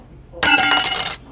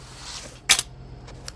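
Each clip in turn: First: metal business card, sounds metallic. Second: thin metal business card, dull drop with no metallic ring.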